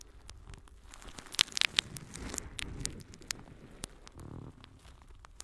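Long fingernails scratch a palm-sized, yellow, porous natural sea sponge held in the other hand. The scratching makes a quiet, dry, bright crackle with irregular sharp clicks. Between the clicks are soft rustling passages.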